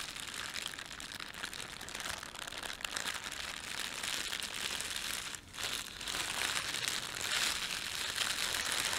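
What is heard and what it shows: Fingertips crumple a thin, red-and-white printed plastic bakery bread bag and rub it flat, making a dense, steady crinkling that is almost all bright, high rustle with very little low end. The crackle runs nearly continuously, with one brief lull about halfway through before it picks back up, slightly louder, to the end.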